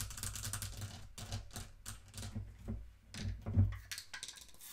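A small wooden mantel clock on a table is tapped quickly with long nails around its brass-rimmed face and upper wooden case. The result is a rapid run of short, dry clicks and taps with bright edges over a low, thudding body, rising and falling in bursts with a few louder knocks near the end.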